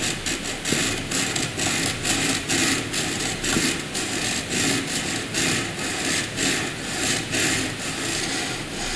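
A wooden graphite pencil does dense hatching on white paper, making a steady run of bright, dry scratching and rubbing strokes. Each stroke swells and fades in a loose rhythm of roughly one per second, and the sound stays continuous for the whole clip.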